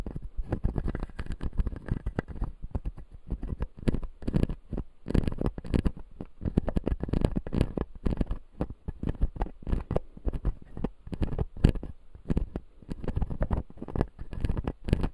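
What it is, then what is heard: Plastic dental teeth model. A closed, solid dental model of clear acrylic with white plastic teeth is scratched by a fingertip across the teeth. The result is a steady, dense run of soft, low, rubbing scratches and small ticks with short gaps between strokes.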